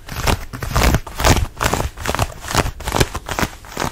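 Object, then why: Denim dress. Fingernails scratch the fabric of a fitted denim dress being worn, at the neckline and waist. Rough, scratchy bursts repeat irregularly at about two per second, each a short rasp with a heavy low, rubbing rumble and a dry, crackly top.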